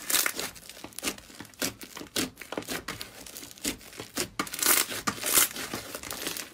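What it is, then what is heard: Foam-bead slime (floam). A mound of yellow foam-bead slime (floam), packed with small white foam beads and resting on a white surface, is squeezed and pressed by both hands with long painted nails. It gives bursts of crunchy, bright crackling and popping, with a faint, rapidly fading tail and almost no low end.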